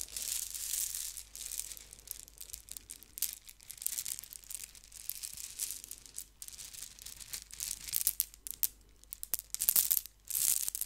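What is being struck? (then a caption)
Squishy stress ball in a net mesh. A hand-sized squishy stress ball, with colorful soft beads inside a white net mesh, is held and squeezed, then rubbed and scratched with long painted fingernails close to the microphone. A bright, crinkly, tearing-like scratching and crackling carries almost all its energy in the high range, with little low end. It comes in bursts of varying loudness across the clip.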